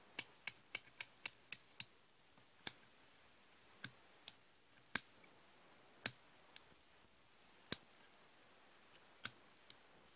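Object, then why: Steel slip-joint pliers. Hand-held solid steel slip-joint pliers are opened and closed repeatedly by hand, giving sixteen sharp, bright metallic clicks and jaw snaps. A quick run of clicks comes first, then they spread out irregularly over the rest of the clip. Each snap dies almost instantly against a quiet background.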